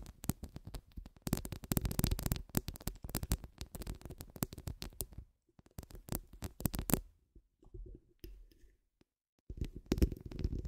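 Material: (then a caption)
Metal mesh. Long acrylic nails scratch across a round, hollow metal mesh microphone grille, making dense, crackling scratches with a heavy low rumble. The scratching comes in bursts, with brief quiet gaps before it resumes loudly at the end.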